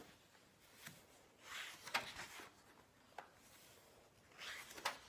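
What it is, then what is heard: Turning paper pages of a large book. Fingertips lift, flip and smooth the glossy paper pages of a large illustrated hardcover library book lying on a wooden table. Two soft, bright rustling swells of sliding paper are heard, along with four crisp page snaps. The sound is quiet with almost no low end.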